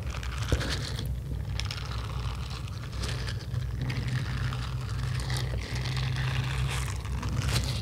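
Long yellow acrylic nails scratch steadily across the bristle nubs of a small red silicone facial scrubber held in the hand. The result is a continuous crinkly, scraping texture with bright flecks over a dominant low rumble around 70 Hz. The level stays fairly even throughout, with a few sharper scratches standing out.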